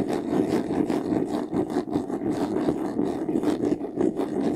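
Fingernails scratch quickly across the top and side panel of a medium white, textured faux-leather jewelry box, which is closed and hollow. The result is a steady, dense rasping with a mid-pitched body and bright, brief scratchy streaks that rise and fall with each stroke.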